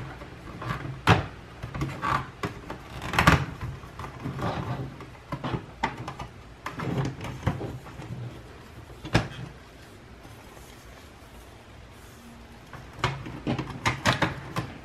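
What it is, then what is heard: Plastic watercolor palette, empty. An empty white plastic Mijello Fusion 33 watercolor palette, about 30 cm long and hollow, with three rows of paint wells and its hinged lid open at the top, is handled and tapped by fingertips along the wells and edges. Irregular hollow knocks and clicks from the case come in bursts, with a quiet stretch near the end before a final cluster of taps.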